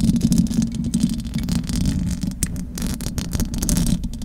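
Long acrylic nails scratch the metal mesh grille of a large silver condenser microphone. The result is a dense, continuous scratching and rasping that is heavy in low rumble with a hum-like tone around 227 Hz, plus faint, rapid flickers of brighter texture.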